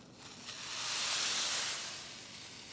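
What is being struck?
Nothing is struck.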